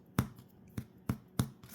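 A cooled, baked-through loaf of Amish sandwich bread is tapped before being cut with a serrated knife. Four short, dull, low thuds ring out, followed by a fainter fifth. The hollow sound confirms the loaf is fully baked inside.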